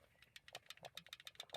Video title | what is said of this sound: How to do Valve adjustment on BMW E30 325i | you can hear that a bit of play in them